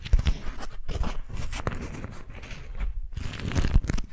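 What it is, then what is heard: Beeswax-coated cotton food wrap being crinkled. An orange- and lemon-print sheet of beeswax-coated cotton food wrap is bunched in both hands while long nails grip and crinkle the waxed fabric. Dense, papery crackles and tearing-like rustles come in bursts, broken by brief quiet pauses, over a heavy low rumble from the handling.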